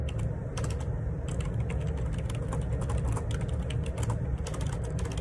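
Fingertips type continuously on the plastic keycaps of a black Perixx Periboard 612 wireless Bluetooth dual ergonomic split keyboard resting on a grey table. A dense, unbroken run of short, bright key taps plays over a steady low rumble.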